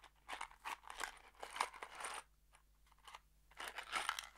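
A small kraft cardboard box holding screws is shaken in an open hand, producing bursts of dry rattling and crunchy, crinkling cardboard noise. The sound is bright and clicky, with short quiet gaps between the shaking bursts.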